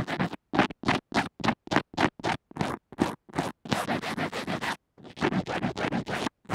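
A pink plastic spoolie tip is scratched quickly against the band-aid wrapped around a small earphone microphone resting on a table. The result is a fast run of short, rough scratching strokes. They start as separate bursts with silence between them, then crowd into denser runs with a brief pause partway through.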